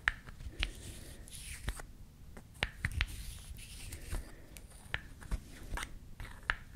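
A small, solid painted wooden toy lip balm with a pink cap, red stick and natural wood base is held in both hands while its cap is opened and closed and the wood is clicked and tapped with long nails. About eleven short, dry clicks and taps, each with a bright edge near 1.7 kHz, stand out over a soft, quiet rustling bed. Each tap dies away almost instantly.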